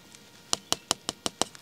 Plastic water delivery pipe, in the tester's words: this one's empty because it's coming back down the hill